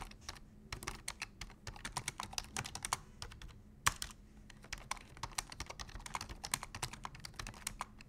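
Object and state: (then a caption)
Plastic computer keyboard. Both hands type rapidly with their fingertips on a black plastic full-size computer keyboard. A dense stream of sharp, bright key clicks comes through, with one louder clack near the middle. A faint steady low hum sits underneath.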